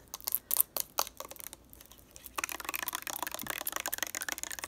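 A lavender plastic makeup remover bottle is held in both hands while long nails tap and click on its surface. Sharp, bright clicks come in a sparse run, then turn into a fast, dense stream of tapping and scratching after about two and a half seconds.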